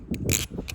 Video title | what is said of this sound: Cold Blade Nautilus V2 vs V2.5! | there's a little bit of a rattle when you shake it, and it puts a different undertone to this barrel song